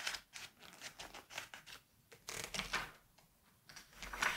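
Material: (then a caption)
Paper. Both hands hold the edges of the thin glossy pages of a large September 1986 Vogue magazine lying open on a white table, turning and flipping them. A quick run of bright, crisp paper crinkles and swishes follows, with short quiet gaps and a fuller, louder rustle of pages near the end.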